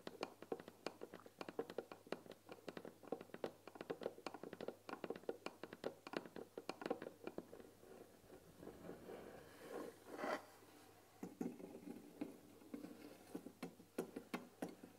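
Long painted nails tap rapidly on the front panel of a closed, rectangular white-painted wooden tea box, hollow and filled with tea bags, making quick, dry, hollow clicks with almost no ring. The fingers then move to the box's glass-window lid, where a short swishing rub gives way to sharper, brighter taps.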